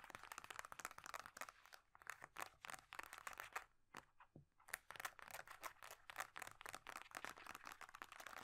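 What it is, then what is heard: Plastic moisturiser tube with cap. Long dark-painted nails rapidly tap and scratch along a small hollow plastic squeeze tube of moisturiser and its silver and black screw cap, held in both hands. Quick, dry, bright clicks and crinkly scratching come in dense bursts with almost no ring, easing into a sparser, quieter stretch around the middle before picking up again.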